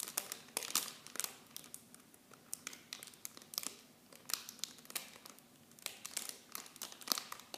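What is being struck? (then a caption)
Thin plastic film wrap. Clear plastic wrap from a miniature shampoo set is held in both hands and crinkled with fingertips and long blue nails. Dense, bright crackling sounds with many sharp, quick snaps, coming in irregular bursts with little low end throughout the clip.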